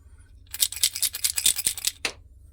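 An old container found in a Japanese tunnel is shaken, giving a quick series of bright, high rattling clicks and scrapes that end with one last sharp rattle. The rattle shows the container, thought to be empty, has something loose inside; it stays unopened.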